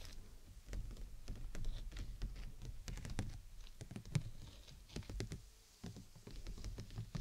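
Fingers and nails tap the outer canopy at the sides of a clear PVC dome umbrella held over the mic. The result is a quick, irregular patter of dry, sharp clicks over a low rumble, each tap dying away almost instantly.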